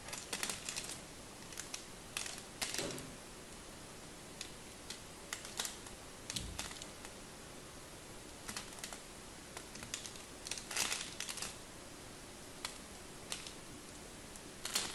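A black craft knife carves and scrapes small chunks off a palm-sized, solid pink-and-white striped bar of soap held in a hand with long nails. Quiet, bright, crisp clicks and scratchy cuts come in irregular bursts, some clustered and some isolated, over a low steady background hiss.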